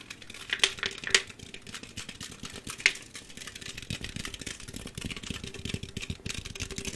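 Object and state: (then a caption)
Aluminum drink can. A hand-sized, hollow green Mountain Dew aluminum drink can, fill level unknown, is held in front of the microphone and tapped fast with fingertips and nails. The result is a dense, uneven patter of short, bright metallic ticks centered around 1.9 kHz, with a few louder, sharper clicks near the start.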